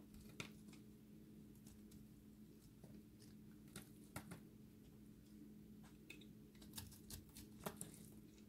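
A solid, dry recycled soap ball with a blue and white layered core is held in the hand and scraped with a utility blade. Quiet, crisp scraping and crumbling ticks with sharp, bright clicks sound over a steady low hum.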